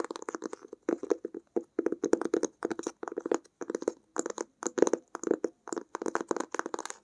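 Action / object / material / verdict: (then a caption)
tap / cloth-covered cardboard sketchbook cover / cloth, cardboard / none. Long acrylic nails tap and scratch on the textured cloth-covered cardboard cover of a closed, blue-grey hardcover watercolor sketchbook with an elastic band, held upright. Dry, clicky taps come in quick clusters separated by brief silences, with a hollow mid-range knock and a light scratchy hiss on top.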